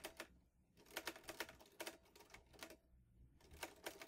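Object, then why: Metal portable typewriter. Fingertips type steadily on the keys of a vintage teal metal Underwood Olivetti Lettera 22 portable typewriter with paper loaded. Crisp, bright metallic clacks strike in quick runs, each dying away almost instantly, with brief pauses between bursts.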